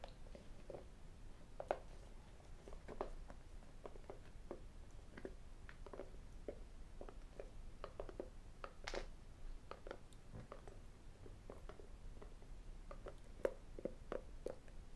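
A small white rigid cardboard iPhone box, closed, hollow and apparently empty, is tapped and scratched with fingertips, short nails and metal rings. Quiet, dry, short taps and clicks come in an irregular stream with a hollow mid tone, mixed with soft scratching. A few sharper ring clicks stand out above the steady low murmur.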